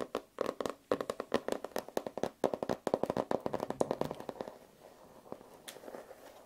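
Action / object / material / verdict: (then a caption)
tap / notebook with rigid foil-covered cover / foil, card / none. Fingertips and short nails tap and scratch across the flat cover of a hand-sized notebook held up in one hand, its rigid cover wrapped in iridescent holographic foil with a peacock-feather print. A rapid run of crisp, dry taps with a midrange body and bright clicky edges dies away almost instantly, then thins into softer, quieter scratching toward the end.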